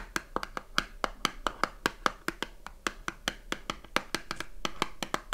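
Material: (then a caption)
Cardboard. Long nails tap and scratch the back panel of a small cardboard soap box with a bar inside, turned to show its barcode. About 28 quick, dry taps come in an uneven rhythm, each a sharp click with a hollow papery knock near 1.3 kHz and a bright edge. Each tap dies away almost at once, with faint scratching between them.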